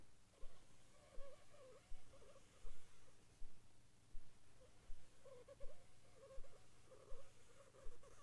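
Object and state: Nothing is struck.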